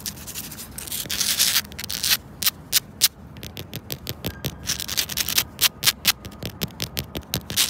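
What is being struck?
Granular rubber floor tile.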